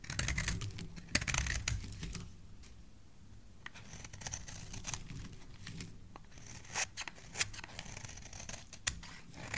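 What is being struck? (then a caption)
Bar of soap cut with a metal blade. A metal blade cuts curls and scratches off the edge of a solid red soap bar held in the hand. Dense, crisp scraping and shaving fills the opening seconds, then eases to a quieter scratchy texture. Sharp bright clicks and slices punctuate it over a low, steady background rumble.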